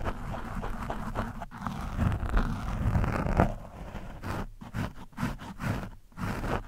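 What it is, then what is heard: Foam microphone windscreen being scratched. The tip of a screwdriver scratches across an orange foam windscreen on a microphone. It makes a muffled, low, rumbling scrape that runs steadily at first, then breaks into shorter, choppier strokes with brief gaps between them.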